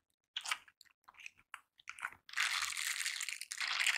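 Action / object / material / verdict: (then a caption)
scrape / silicone bristle scrubber gloves / silicone / none. A pair of silicone bristle scrubber gloves is worn on both hands, and the gloved hands rub over each other's backs and palms. A series of short, bright, crunchy rasps gives way to a sustained, dense bristly scrubbing that briefly dips and then continues to the end.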